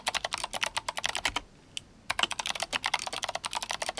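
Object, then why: Mechanical keyboard with plastic keycaps. Fingertips of both hands type fast on an RGB-backlit GMMK Compact mechanical keyboard with clicky Kailh Box White switches and plastic SA keycaps. A rapid stream of sharp, bright clicks pauses briefly for one lone keystroke, then resumes. The clicks are crisp and short, with almost no low end.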